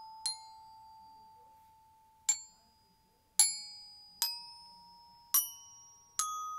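A yellow-headed mallet taps the solid flat metal bars of a children's glockenspiel mounted on a turquoise plastic case. Six separate bright, ringing notes are struck at uneven intervals, each with a sharp attack and a sustained tone that lingers until the next strike.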